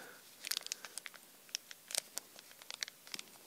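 A small, clear, thin plastic zip bag holding a metal pin badge is held in both hands while the fingertips crinkle and rub the plastic. Quiet, bright crinkles and sharp little ticks come in scattered bursts, each dying away at once with almost no low end.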